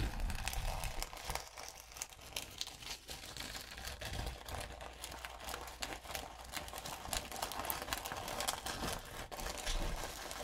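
A gold and pink glitter-coated notebook paper sheet is rubbed and scratched with long nails and fingertips. A steady, dense crinkling and scratching runs throughout, with bright papery texture over a low rumble. Frequent quick rustles and scrapes overlap without clear breaks.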